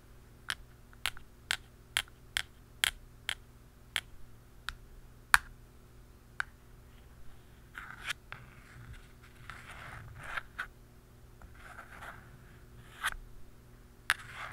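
The tip of a metal-barrel pen taps a hollow black plastic screw lid on top of a round canister. It makes sharp, dry, clicky taps with bright tops and almost no ring, evenly spaced through the first half. After about 7.5 seconds, softer scratchy, rustling scrapes mix with a few more scattered taps over a faint steady low hum.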